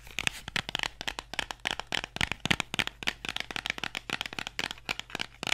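Fingernails scratch and tap the faces and edges of a small, hollow printed cardboard box while it is turned in the hands. About 30 quick, dry clicks and scratchy taps come in an irregular, brisk rhythm. They are bright and papery, with little low end and almost no ring.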